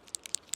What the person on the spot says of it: You can hear that. You can shake it up just kind of like a spray paint can.